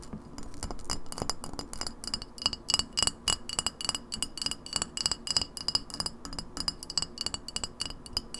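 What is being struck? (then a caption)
Glass bottle. An empty clear glass lemonade bottle with a paper label is held on its side and tapped quickly with long nails on its glass base, shoulder and label. The result is a fast, continuous run of short, bright glassy clicks and clinks with a high ringing tone that dies away almost at once, plus duller, softer taps.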